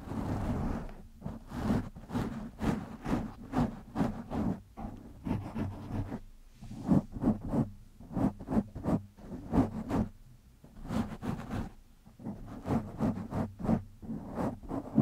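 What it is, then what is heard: Foam microphone windscreen being scratched. Fingertips of both hands scratch the top and sides of a black foam windscreen on a microphone. The result is a close, rustling, crackly scratching in quick, uneven bursts, with a steady low hum underneath.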